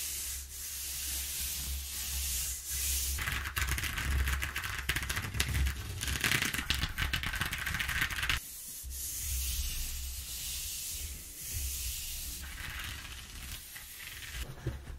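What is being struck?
Corrugated cardboard sheet.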